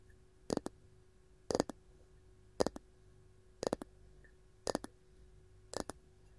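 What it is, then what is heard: Wooden canister lid. Long gold nails tap and scratch a round varnished wooden lid with a ball knob on top of a canister. Sharp, dry clicks come in six evenly spaced pairs, twelve hits in all, each with a woody body around 500 Hz and a bright edge that dies out almost at once. A faint steady hum runs quietly underneath.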